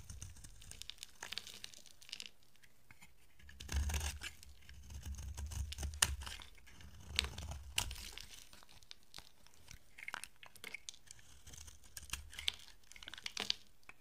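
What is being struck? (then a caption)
Bar of soap. A utility-knife blade scrapes and carves a solid, dry pink soap bar with a blue rim, shaving off crumbly flakes. Dry, bright scraping and tearing crunches come in short strokes, with longer, louder rasping passes and sharp crisp clicks as flakes break away over a low rumble.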